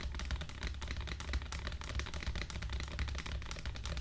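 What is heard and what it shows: A medium clear plastic jar of Eco Styler hair gel with a white lid, full of clear gel, is held in both hands and tapped and scratched all over its sides with long black acrylic nails. The result is a dense, continuous run of quick, bright plastic clicks and scratches over a steady low hum.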